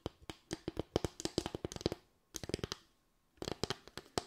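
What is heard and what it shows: Long white nails tap and scratch across a solid, flat bamboo slatted board with raised parallel slats. About 22 quick, dry taps come in three bursts separated by short pauses, each a hollow knock around 340 Hz with a bright clicky edge that dies away almost instantly.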